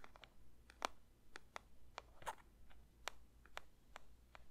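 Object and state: Paper box tapped.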